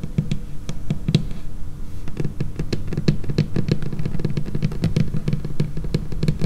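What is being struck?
Laminated wooden tabletop tapped with fingernails.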